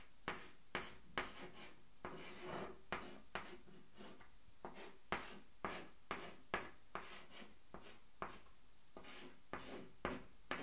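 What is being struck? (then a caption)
Chalk on a wooden-framed blackboard. A hand writes with a stick of white chalk on a small wooden-framed blackboard standing on an easel. Seventeen short, irregularly spaced chalk strokes tap and scratch across the board, each a sharp, dry attack with a bright scraping hiss that fades quickly. Softer rubbing sounds fill the gaps between strokes.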